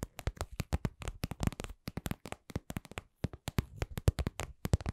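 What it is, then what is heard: Vinyl cosmetic pouch tapped with nails. A glossy, lip-shaped red patent vinyl cosmetic pouch, soft and hollow, is held in both hands and tapped and scratched with long acrylic nails. About 30 quick, dull, low taps come in uneven bursts, each dying away at once with no ring.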